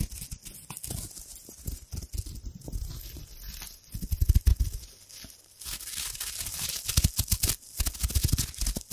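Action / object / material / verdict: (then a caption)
scrape / thin metal foil wrapper / metal foil / none. A thin, crumpled, hand-sized sheet of gold metallic foil is held close to the mic and crinkled and scrunched with long-nailed fingers. Dense, crackling crinkles come with bright hiss and heavy low thumps from the close handling. A louder burst of scrunching comes midway, followed by a brief quieter dip, then steady bright crinkling to the end.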